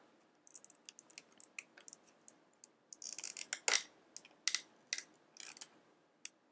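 A hand-sized, hollow, clear plastic blister pack with a yellow card backing and small items sealed inside is held in both hands and tapped and scratched with long painted fingernails. It makes irregular, crisp, bright clicks and short scratchy bursts that stop almost instantly, with a denser rustling scratch in the middle and almost no low end.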